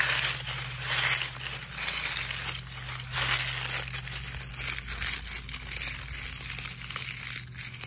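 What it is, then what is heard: Dry oak leaves. A hand gathers a handful of dry brown oak leaves from a pile on grass, crumples them in the fist and scrunches the pile with the fingers. The result is a dense, continuous, bright crinkling and crackling crunch that swells and eases over a faint low steady hum.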